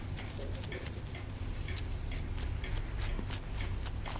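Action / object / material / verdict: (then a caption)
scrape / plaster block scraped with a wooden stick / plaster / none. A wooden stick picks and scrapes at a hand-held solid plaster block near the exposed bone of a dinosaur skeleton dig kit. Quick, bright scratchy picks and scrapes repeat steadily over a constant low hum.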